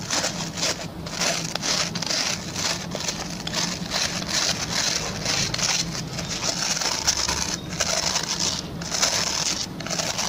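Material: Plastic.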